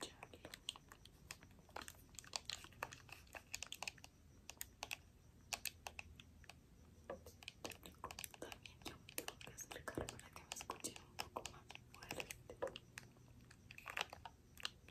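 Long nails and fingertips tap and click across the shell and buttons of a hand-sized, hollow purple plastic gamepad held close up. The result is a quiet, steady stream of rapid, dry, bright clicks and taps that stop almost instantly, with a faint low hum underneath.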